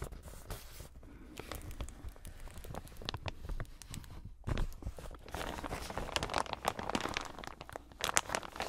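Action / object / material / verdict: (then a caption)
scrape / plastic zip-lock bag / plastic / none. A large clear plastic zip-lock bag, empty or holding only a thin printed sheet, is handled with bare fingers. It is crinkled and rubbed, and its zip edge is pulled, giving dense crackling and crinkling that turns busier and brighter in the second half.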